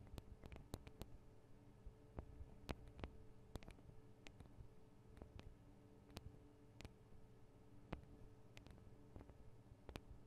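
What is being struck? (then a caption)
Metal microphone capsules of a handheld recorder. Long acrylic nails tap the small, hollow metal microphone capsules with metal guard wings on a Tascam DR-40 recorder. Quiet, sharp ticks come in an irregular series, each cut off almost at once with a bright edge. A steady low hum sits underneath throughout.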